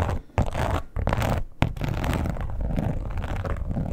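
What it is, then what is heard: Textured leather wallet being scratched. Long acrylic nails scratch quickly across the embossed scales of a red croc-textured leather wallet with a strap. The result is a dense, low, rumbling rasp that pauses briefly twice, with a sharp tick as the scratching resumes, before it settles into steady, rapid friction.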